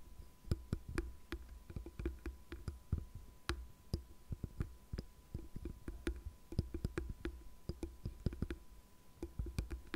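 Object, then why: Plastic paddle hairbrush. Long nails tap and scratch the smooth plastic back of a light blue, cat-faced paddle hairbrush held flat on a desk. About 33 quick, dry clicks land in an irregular stream over low, soft scratching, and each tap dies away almost instantly.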